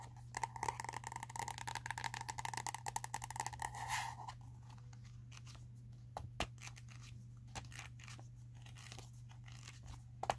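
Long acrylic nails tap and scratch the plastic cover of a small red spiral-bound notebook with a solid paper block, and its pages are flipped. For the first four seconds there is a dense, crinkly crunching rattle with a tonal ring around 790 Hz. It then thins out to sparse, sharp clicks and taps over a steady low hum.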